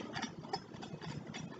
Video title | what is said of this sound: Epicure Microwave Chicken | That's how crispy that is.